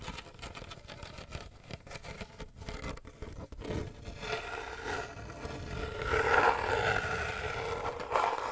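Fingertips and nails tap and scratch the woven wicker sides and black lid of a medium hollow wicker basket box held beside the microphone. Quick, irregular dry taps and scratchy rustling give way to louder, denser scraping with a hollow midrange tone around 800 Hz in the second half.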